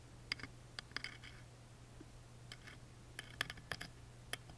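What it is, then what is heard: Engraved wooden music box lid. A wooden toothpick scratches and traces the grooves of the small, laser-engraved dinosaur relief on the thin wooden lid of a tiny music box, which is held open. Short, dry, bright clicks and ticks come in scattered clusters with quiet gaps between them, each dying away almost instantly. A faint, steady low hum runs underneath throughout.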